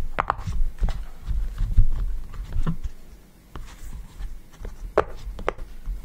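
Fingertips press and pop the hollow bubbles of a yellow round silicone push-pop fidget toy resting on a table. The result is a quick series of soft, dull thumps and muted pops, mostly low in tone with faint brighter clicks, each one fading almost at once.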